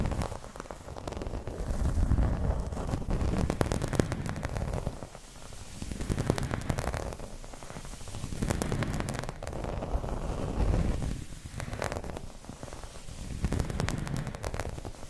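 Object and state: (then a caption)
Plastic placemat being scratched. Long red nails scratch across a round, dark green textured plastic placemat with an embossed wave pattern lying flat on a table. The result is a steady, rough scratching and rustling with a deep, rumbling body, rising and falling in waves and dotted with quick, sharp clicks.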